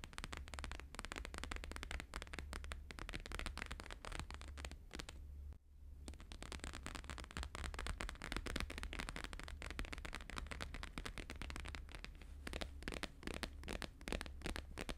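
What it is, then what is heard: Laminated paper sheet tapped. Both hands tap fast with fingertips and nails on a thin, flexible, flat square sheet of plastic-laminated holographic paper lying on a fur rug. A dense, rapid stream of crisp, crackly clicks runs throughout over a steady low hum, with only a brief lull around the middle.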